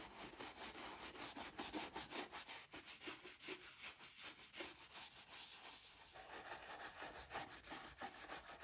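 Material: Leather.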